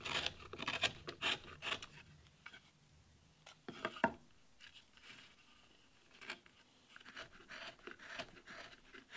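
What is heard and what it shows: A steel chisel makes small scraping cuts into the surface of a solid wooden relief panel, carving the leaves of a damask rose. Short, dry, bright scrapes and crisp clicks come in quick bursts, with quieter pauses between them and one sharper cut near the middle. The sound is light and thin, with almost no low end.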